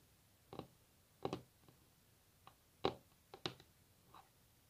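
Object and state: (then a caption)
Varnished wooden tabletop tapped with nails. Long natural nails tap on a solid varnished wooden tabletop. Short, dry, irregularly spaced clicks and taps, some in quick pairs, each fading almost at once over a quiet background.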